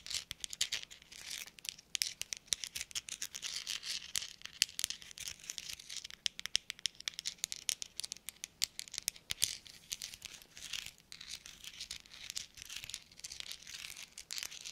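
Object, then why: Small metal thimbles. Small hollow metal thimbles worn on black rubber-gloved fingertips are tapped and clinked together in a rapid, uneven stream of quiet, bright clicks. Each tick is sharp and dies almost instantly, centered around 3 kHz and brighter, with almost no low end. A soft rubbery rubbing may sit between the clinks.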